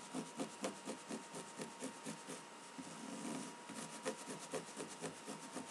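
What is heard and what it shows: Dark cotton denim jeans are first handled and folded, then laid flat on a table and scratched with long pink-painted fingernails of both hands. Quick, fairly steady scratching strokes make a soft, bright, rasping rub with a faint steady tone underneath. A brief smoother brushing passage breaks the rhythm midway.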